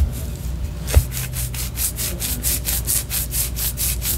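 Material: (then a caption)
Wax. Long orange nails scratch the surface of a white solid wax pillar candle, producing quick, rhythmic strokes of bright, dry rasping. A soft low thump sounds near the start, and the scratching continues steadily to the end.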